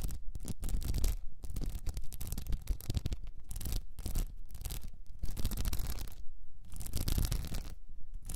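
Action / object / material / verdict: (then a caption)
scrape / cylinder wrapped in rhinestone mesh / rhinestones / none. Long nails scratch across the blue rhinestone mesh wrapped around a tilted cylinder held in both hands. The result is a dense, continuous run of quick, gritty scratching strokes with bright, crackly edges over a low rumble, pausing briefly between bursts.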